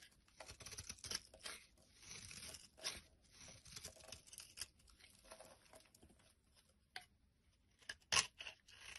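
A blade scrapes flakes off a solid pink bar of soap held in the hand, making a run of dry, bright, crackly scraping strokes. The strokes are short and quiet with almost no low end and no ring, and one sharper, louder scrape comes near the end.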